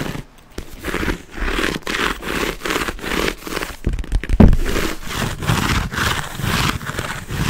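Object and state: Quilted leather handbag scratched.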